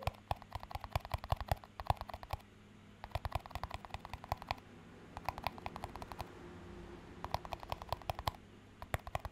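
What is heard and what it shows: A small, empty clear plastic cup with a green band around it is held in both hands and tapped and scratched with fingertips and short nails. Rapid bursts of crisp, dry clicks come in four or five groups separated by brief pauses, over a soft low hum and faint rustling.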